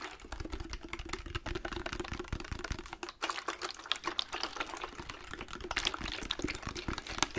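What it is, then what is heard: Glass bottle. A medium clear glass liquor-style bottle with amber contents is held in both hands in front of a microphone and rapidly tapped and scratched with fingertips and nails. The result is a dense, continuous stream of short, dry clicks and bright scratchy textures over soft low thumps. A faint steady ring sits around 300 Hz throughout.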